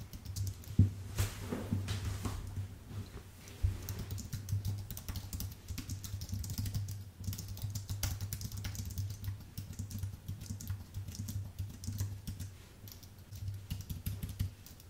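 Fingertips type steadily on a white, full-size Apple Magic Keyboard with plastic keycaps on an aluminium base, producing a dense run of short, sharp clicks with bright edges. A steady low hum sits beneath the quick, dry keystrokes throughout.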